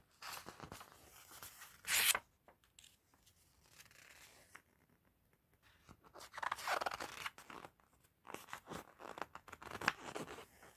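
A white-gloved hand and a fluffy mitten turn and riffle the pages of an open, thin, glossy paper guidebook or magazine lying on a table, flipping and rubbing the paper. Bright, papery rustles and sharp crinkling snaps come in bursts, with a louder swish near two seconds and denser flipping toward the end.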